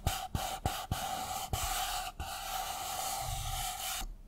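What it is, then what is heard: Empty paper cup. An empty white disposable paper cup is turned in the hands while fingernails scratch and tap its side walls and rim. Six sharp taps punctuate a continuous dry, bright scratching with a steady hollow ring. The sound cuts off abruptly just after four seconds.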